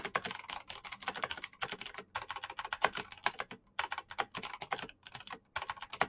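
Fingertips type rapidly on the keycaps of a black plastic mechanical keyboard with clicky green switches. Dense bursts of sharp, bright clicks carry through about six seconds, broken by a few short pauses.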